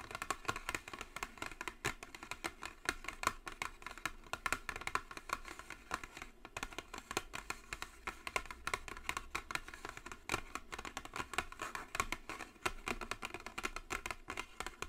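Long acrylic nails tap and scratch the top of a closed, long, flat white cardboard Jisen cosmetic box with a gold logo. The result is a quiet, continuous run of rapid, sharp, dry clicks and scratchy rustles. Each tap is bright with a hollow papery tone centered around 1.1 kHz and dies away almost instantly.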